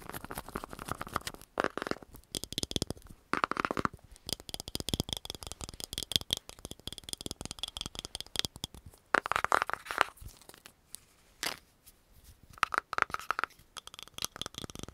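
A round green plastic cream jar with a dark lid is tapped rapidly with long nails, and the lid is opened and closed. Quick, dense bursts of sharp clicky taps with a bright tone near 1.4 kHz come in clusters separated by brief pauses, each tap dying away almost instantly.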